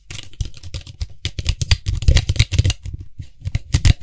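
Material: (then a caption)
Plastic. Fingertips rapidly tap and scratch around the white hollow plastic cap of a tilted Lysol aerosol spray can. Quick, dry, clicky taps with a hollow low thump are layered with bright, scratchy rustling. Each tap dies away almost instantly.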